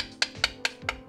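A coin taps five times on an intact spot of a carbon fiber bicycle frame, giving short, bright clicks that die away almost instantly. The frame sounds solid at this spot.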